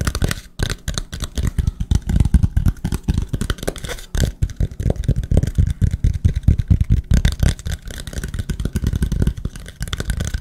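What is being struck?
Small wooden plank.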